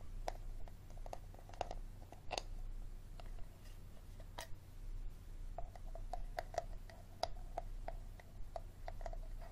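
A small, empty, hollow, clear plastic Dasani water bottle with its label on is tapped and scratched on its ribbed bottom and sides with short fingernails and fingertips. The result is a run of quick, dry taps with a hollow tone around 680 Hz, interspersed with brief bright scratches, over a steady low hum.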